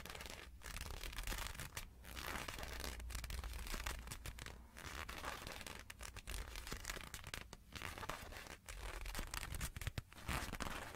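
A pair of black leather gloves worn on both hands is flexed and crinkled in the air on either side of a microphone without touching it, so the leather creases rub against themselves. The result is a dense, continuous stream of soft crinkling and rubbing with a low, rumbly undertone and brief quiet gaps between the movements.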